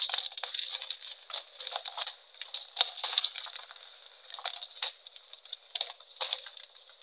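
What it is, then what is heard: Gym chalk block being crushed by hand. Fresh, solid, brittle white gym chalk blocks (magnesium carbonate) are crushed and crumbled between both bare hands, pressed with fingertips and palms over a green background. Dense bursts of dry, bright crackling and crunching come with very short snaps and almost no low end, over a steady high hiss near 3.7 kHz. The blocks break into chunks and powder.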